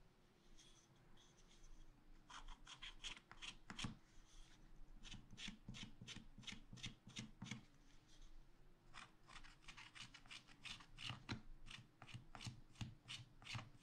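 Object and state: Scratch art paper being scratched.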